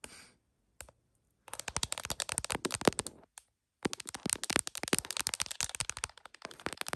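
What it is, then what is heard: Smartphone in plastic case, tapped with nails. Long acrylic nails tap and scratch the back and camera bump of an iPhone in a smiley-print plastic case, mounted on a tripod clamp in front of a heart mirror and recording through its own mic. Quick, bright clicky taps and scratchy rattles come in dense bursts, broken by two short silences.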